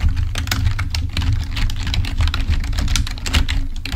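Both hands type with their fingertips on a full-size black plastic membrane keyboard, producing a rapid, continuous stream of soft, short clicks and taps with bright edges. A steady low hum sits underneath the typing throughout.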